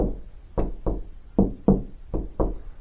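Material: Drywall.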